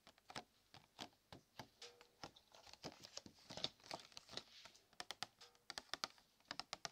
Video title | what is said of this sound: ASMR BINAURAL 3D CHRISTMAS DECORATION TAPPING / RELAXING TRIGGER SOUNDS (SOFT SPEAKING) | I like the way that it sounds when you tap it